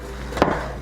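A freshly baked whole wheat loaf, just pulled from the oven, is tapped once to check that it sounds hollow, meaning it is baked through. The single soft, hollow knock has a mid-pitched body and decays quickly. The loaf sounds hollow, so it is done.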